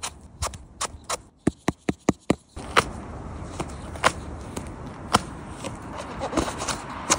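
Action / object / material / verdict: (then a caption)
tap / pine cone amanita mushroom cap / mushroom flesh / none. A large, fuzzy, whitish Pine Cone Amanita mushroom (Amanita magniverrucata), which is not edible, is tapped before being sliced, producing a series of short, dry, soft knocks. The taps come quickly and sharply at first, then continue more sparsely over a steady background hiss that rises partway through.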